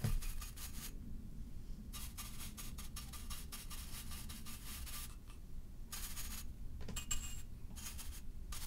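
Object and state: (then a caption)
Ceramic vase. A tall, hollow, black-and-white striped ceramic vase is held tilted in one hand and brushed repeatedly along its side with a flat bristle paint brush. Soft, dry scratchy strokes come in bright bursts over a steady low hum, with a quiet, even level throughout.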